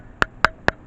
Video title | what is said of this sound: Vivatar Action Camera will it be any better? | it's very light you hear that sounds like plastic it's not nearly as sturdy